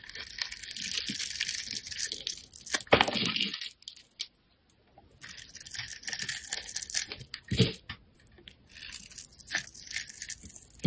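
A metal utility blade scrapes and carves ridges and shavings from a handheld solid bar of soap, half yellow and half lilac, held in fingertips with painted nails. Bright, crunchy scraping comes in dense bursts with short pauses, including a near-silent gap partway through.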